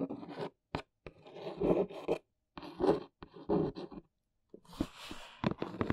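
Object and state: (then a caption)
Cardboard box, scratched. A long nail traces the printed logo and scratches the face of a large brown cardboard box. It makes dry, raspy scratching strokes in short bursts, broken by brief pauses and a few sharp, tap-like clicks. A brighter, hissy scrape follows near the end.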